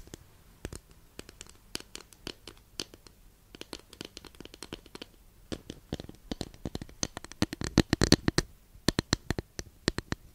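Long nails scratch along the surface of a long, flat, thin, solid wooden incense holder that sits partly behind the mic. Quick, irregular dry scratches and taps come in bursts, denser and louder toward the end. Each one is short and bright with almost no ring.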